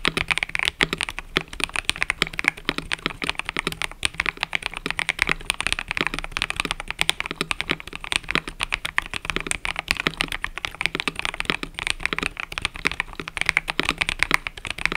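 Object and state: Mechanical keyboard with plastic keycaps.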